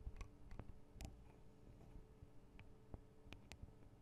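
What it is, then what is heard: Metal microphone capsules tapped with fingernails. Long acrylic nails tap the small, hollow metal microphone capsules with metal guard wings on a Tascam DR-40 recorder. The result is quiet, dry clicks and ticks that die away almost instantly over a low, bassy rumble, with a few brighter snaps standing out.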